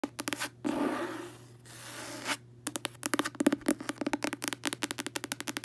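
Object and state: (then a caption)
Cloth-covered hardcover book. Long acrylic nails and fingertips tap and scratch the front cover of a closed red hardcover book, its cloth or paper over solid board, lying on a bed. A few quick dry taps lead into two longer rasping scratches across the cover, then a fast run of crisp, short taps.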